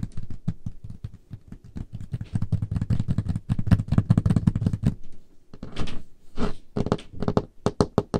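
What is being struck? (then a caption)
Wooden table top. Painted nails tap rapidly across the surface of a large, solid, dark-stained wooden table top. The taps come as quick, dull, low knocks with almost no ring. Near the end they slow, mixed with a few brief, brighter brushing sounds.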